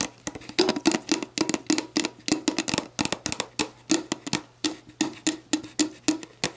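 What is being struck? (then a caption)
Plastic drink bottle. Long black nails tap quickly and unevenly on the ridged bottom and the label of an empty, clear, hollow plastic sports drink bottle. Each tap is a sharp, bright click with a hollow, low-mid plastic resonance that dies away almost at once. The taps come in quick bursts and small clusters throughout.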